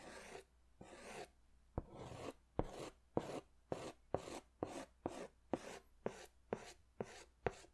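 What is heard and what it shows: A green crayon scratches along the lower part of a large white paper sketch pad held upright. The sound is a series of short, dry, raspy strokes in a steady rhythm, each with a bright grainy scrape. Each stroke ends with a sharp tick and quiet pauses in between.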